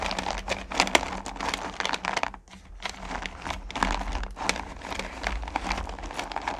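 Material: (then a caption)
Sugar candy. Fingers push down and rake through a pile of small solid pumpkin candy corn in a purple plastic pail. The result is a dense, bright crackling rattle of candies shifting and clicking against each other in rapid bursts, with a brief quieter lull midway, over a faint steady low hum.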